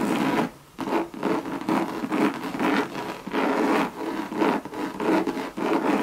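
Long red nails scratch and rub across a Louis Vuitton Monogram coated canvas bucket bag with a leather rim. The result is a steady series of dry, rasping strokes in quick succession, each a soft hissing scrape centered in the low-mid range, separated by brief pauses.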